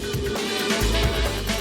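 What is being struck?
Nothing is struck.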